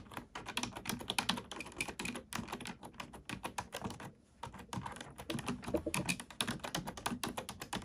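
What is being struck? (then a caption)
Plastic computer keyboard. Rapid, continuous clicking comes from a black plastic computer keyboard being typed on with both hands, using fingertips and nails. The short, dry, bright key taps run in dense bursts with a brief pause around the middle before the typing resumes.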